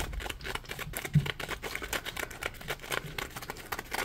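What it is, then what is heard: Foam sponge scratched. Fingertips scratch and rub a solid, palm-sized yellow polymer foam Scrub Daddy sponge. The result is a dense run of quick, dry, bright scratchy crackles with a low rubbing undertone and one louder soft thump just after the first second.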